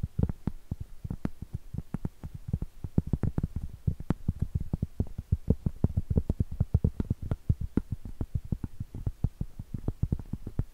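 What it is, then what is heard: Cork trivet. Long stiletto acrylic nails tap and scratch the surface and edge of a round, flat, solid cork trivet held at an angle and horizontally. Dozens of quick, dull, low thuds come with no ring, mixed with faint scratching. There is no speech.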